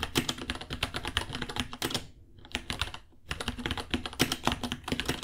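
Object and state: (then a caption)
Plastic mechanical keyboard typing. Both hands type with their fingertips on a small white 66-key mechanical keyboard with Gateron Brown switches, white plastic keycaps, a hollow case and pink underglow, resting on a white desk. Quick, bright, clacky key taps come in rapid runs with a short pause in the middle before typing resumes.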